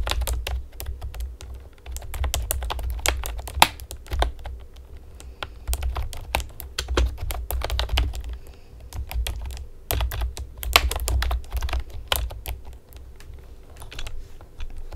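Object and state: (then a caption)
Plastic keyboard typed on with nails. Long painted nails and fingertips type on a hollow pastel plastic typewriter-style computer keyboard with round keycaps, lying flat on a table. Quick, bright clacking taps come in bursts and short pauses, with a steady low hum underneath.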